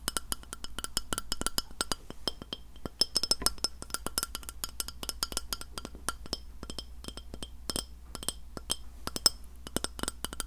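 Long nails tap and clink rapidly on the surface of a round, flat, solid white glass plate held near the recorder. The result is a steady stream of short, sharp clicks with bright, glassy ringing overtones, over a faint low hum.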